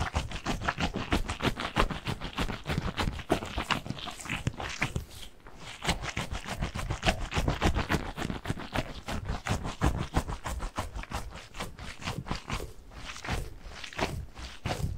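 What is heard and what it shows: A soft, mesh-covered squishy stress ball filled with blue gel beads is squeezed and kneaded by both hands close to the mic. It makes a dense, irregular stream of short, crackly squelches and scrapes that are heavy in low thud but reach into a bright hiss. The sound dips briefly quieter around the five-second mark before carrying on.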